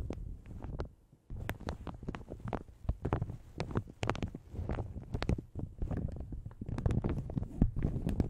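Long red nails scratch and tap a light blue plastic shower cap stretched over a large hollow Yeti microphone. The result is a dense stream of soft crinkles and quick muffled taps with a heavy low thump, broken by a brief pause near the one-second mark.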